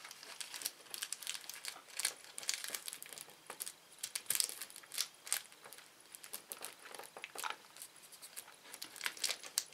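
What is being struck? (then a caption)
Thin plastic candy wrapper. A small, thin, empty red-orange printed Anta Flu plastic candy wrapper, laid flat on a wooden table, is pressed, smoothed and crinkled with the fingertips of both hands. The result is a quiet, continuous stream of bright, crisp crackles and sharp snaps with almost no low end. Louder bursts stand out every so often.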